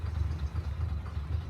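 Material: Nothing is struck.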